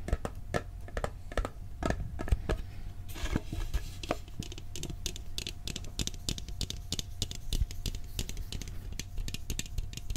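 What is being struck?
Steel cookie tin.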